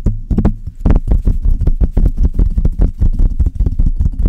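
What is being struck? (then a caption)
Metal mesh microphone grille. Long red nails on both hands tap and scratch rapidly across the hollow metal mesh grille of a Blue Yeti microphone. The result is an uneven stream of quick, deep, muffled thumps that die away almost instantly, with only faint brighter scratchy edges.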